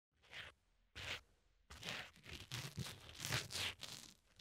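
A sharpened red wooden pencil tip, held in the fingertips, scratches and pokes at the small black foam windscreen of a tiny lavalier mic, soft and porous over a hollow capsule. Two short bright rasping strokes are followed by a longer run of close, crackly scratching with soft low thumps underneath.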